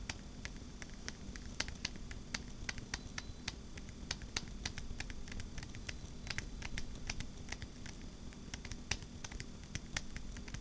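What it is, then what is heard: Phone in a rubber and plastic case. Long black-painted nails tap and scratch the back of a smartphone in a purple rugged rubber and plastic case, held close in both hands. Many quick, light, clicky taps with sharp bright attacks and very short decay are heard, mixed with soft scratching over a steady low hum.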